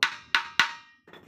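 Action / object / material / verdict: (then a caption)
tap / wooden dhol drum shell / wood / none. Three taps on the wooden shell of a dhol drum made of batti wood give bright, woody clicks centered around 1.5 kHz. Each tap decays over a few tenths of a second, and faint, rougher rustling follows at the end.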